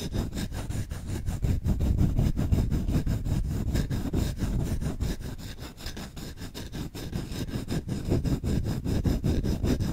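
Short nails scratch fast across the grain-patterned back of the bowl of a solid wooden spoon. They make a dense, rapid, rough rustling that is mostly low and dull, dipping briefly softer in the middle before picking back up.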